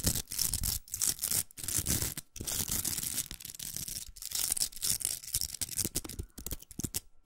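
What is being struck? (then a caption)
Plastic velcro hair roller. Long nails scratch the velcro surface of a large, hollow, pink plastic velcro hair roller. The result is a dense, bright, raspy crackle in quick bursts, broken by brief silent pauses.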